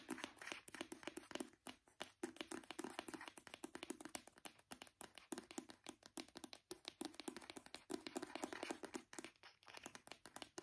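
A small brown plastic hand cream tube, held horizontally between both hands, is tapped rapidly with the fingertips and nails. The result is a dense, continuous patter of quick, dry, clicky taps with a light hollow tone around 330 Hz and a bright edge. Each tap dies away almost instantly.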